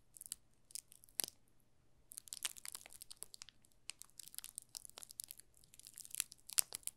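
A solid yellow soap bar wrapped in thin plastic film is held in both hands while the fingertips rub and crinkle the film. The result is a quiet, bright series of crisp crackles and crinkles in irregular bursts with short pauses. The sharp snaps die away instantly and have almost no low end.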